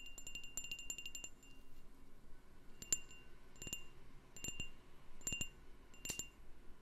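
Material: Glass.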